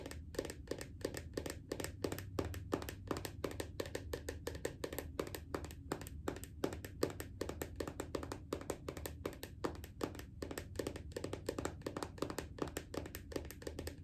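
Long acrylic nails tap rapidly and steadily on the lid of a small round red plastic body butter jar resting on a leg. The taps are short, dry clicks with a hollow tone around 400 Hz and a low background hum, and none of them ring on.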